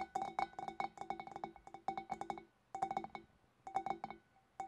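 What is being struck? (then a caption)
Glass fish bowl. Long black-polished fingernails on both hands tap the sides and neck of a large, empty, hollow clear glass fish bowl. Quick bursts of light, bright clinks with a steady glassy ring near 780 Hz each fade almost instantly, separated by short silent pauses.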